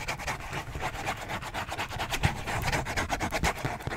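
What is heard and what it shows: Fingertips quickly rub and scratch the printed surface of a dark, hand-sized Kleenex tissue box made of hollow thin cardboard, held close to the mic. The result is a fast, steady stream of dry, raspy scratching strokes with a hollow low body beneath a bright papery hiss, a few strokes landing harder than the rest.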